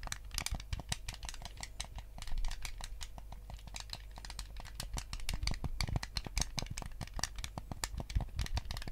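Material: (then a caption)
Plastic. Fingertips and nails rapidly tap and scratch across the hollow plastic shell of a white GameCube controller. They make a dense stream of dry, short clicks and bright scrapes that die out almost instantly. A steady low hum sits underneath.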